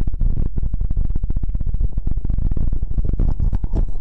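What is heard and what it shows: Fingertips and nails tap quickly and scratch across a square, stuffed, printed fabric throw pillow. The result is a steady run of soft, muffled, low thumps with a faint fabric rustle and almost no ring.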